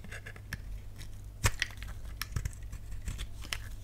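A solid, dry pink bar of soap held in the palm is shaved and cut with a utility knife blade. Quiet, crisp scraping and crumbly cutting sounds come in short bursts over a low steady hum. The sharpest cut lands near the middle.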